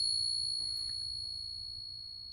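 A genuine 1921 silver Morgan dollar is pinged and gives off a clear, high, bell-like ring that holds steady and fades only slowly across the clip. The long, pure sustain marks it as real silver.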